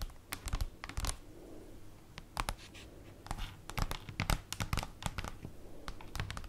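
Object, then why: Printed cardboard folder. Long acrylic nails tap on the printed surface of a large, flat black paper or cardboard folder lying on a table. The result is a quick, uneven run of short, dry clicks with a soft, low body and a bright tick on each hit, set over a faint hiss.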